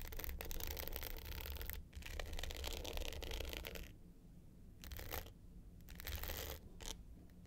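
Long pointed nails scratch the dark blue glitter top of a small, rectangular, hollow hard-case clutch with a gold metal frame, lying flat. A dense, gritty rasp of fast, uneven strokes fills the first four seconds with a bright hiss over a low, hollow rumble. It then breaks into shorter bursts separated by quiet gaps.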